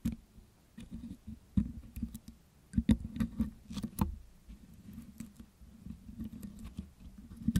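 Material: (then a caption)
Metal mesh. A metal dental pick scratches and picks soft, wet green putty off the hollow metal wire-mesh grille of a Blue Yeti microphone while hands hold the mic. It makes close, muffled scraping and sticky patter, heavy in the low end. Short dry clicks and ticks stand out, with quieter rustling between them.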